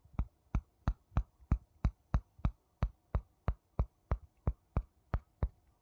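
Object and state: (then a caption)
Wooden spoon tapped on a wooden bowl. A wooden spoon taps a wooden bowl 17 times at a steady pace, roughly three taps per second. Each tap is a short, dull, low-pitched knock that dies away almost instantly, with a faint low hum between taps.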